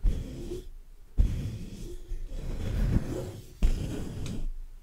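Fingertips tap and scratch the black metal mesh grille of a large hollow condenser microphone in three close bursts of handling noise. Each burst is a deep, muffled rumble of dull knocks and scraping with almost no bright content, separated by brief near-silent gaps.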